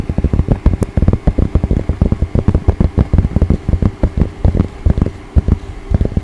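Fingertips and long nails of both hands scratch and rub the crown of a soft, hollow, dark grey cotton baseball cap with red embroidered text, close to a microphone. The result is a rapid, continuous run of short, dry scratching strokes with a dull, low, thumping body and almost no ring.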